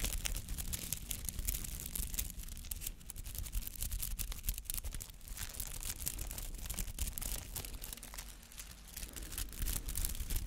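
Fingernails scratch and rake through the many white-green bristly petals of a palm-sized artificial flower made of soft rubber. The result is a dense, continuous crackly rustle of quick bristly flicks, bright on top over a low rumble, swelling and easing slightly as the strokes continue.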